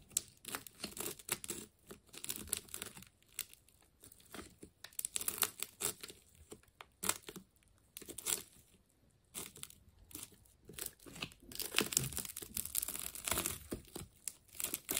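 A utility knife slices through the layers of a partly cut green and yellow wound plastic tape ball. Quiet bursts of bright tearing and crinkling come in quick, irregular clusters with short pauses between them, and there is very little low end.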